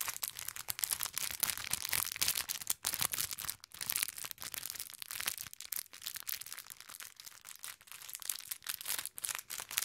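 A small clear plastic bag full of orange konpeito sugar candies, tied with a green ribbon, is held in both hands and crinkled with the fingertips. Dense, bright crackling and rustling fills the clip for about ten seconds in quick, irregular bursts, with almost no low end.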